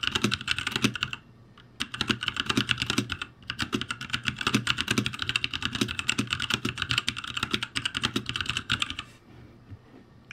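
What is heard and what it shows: Fingertips type rapidly on the letter rows of a backlit ROCCAT G65 mechanical keyboard with plastic keycaps, producing dense, bright clicking keystrokes with very short decay. The typing comes in bursts, with brief pauses near 1.2 seconds and 3.4 seconds, then fades to quieter, sparse taps after about 9 seconds.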